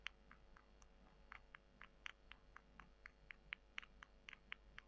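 Long nails scratch and squeeze two small, solid, dry, porous brown soy chunks, one held in each hand, over a white table. A quiet, rapid run of around nineteen short, crisp, bright clicks and crunches is heard, centered near 2 kHz, over a faint steady low hum.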